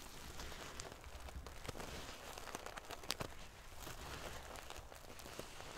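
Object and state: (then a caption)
Metal sequin pillow. Long painted fingernails scratch and ruffle a large decorative pillow covered in rows of small silver metal sequins sewn onto fabric. The result is a quiet, continuous crackly rustle with scattered sharp, bright clicks as the metal pieces shift against each other.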